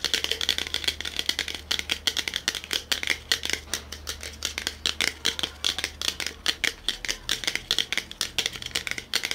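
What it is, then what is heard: Metal drinks can tapped and scratched. A small metal BOSS coffee can, held in both hands and turned, is tapped, rubbed and scratched on its body with short fingernails and fingertips. The result is a fast, uneven stream of crisp, bright clicks and scratchy rustles with a tinny ring around 3.3 kHz, each tap dying away almost instantly.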